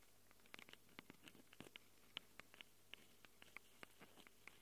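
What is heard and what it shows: Long acrylic nails scratch and tap the metal mic capsules of a small black handheld Tascam recorder. About twenty quiet, sharp clicks and scrapes ring out with a bright tone near 3 kHz over a faint low hum. Each hit dies away almost instantly.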